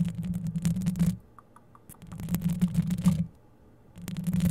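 Long yellow acrylic nails scratch rapidly across the rounded, hollow metal wire-mesh grille of a dark grey USB condenser microphone, seen close up. The result is a dense, rumbling, low scraping texture in three bursts separated by near-silent pauses.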